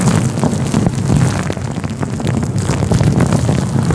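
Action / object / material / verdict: scrape / synthetic fur microphone windscreen / synthetic fur / none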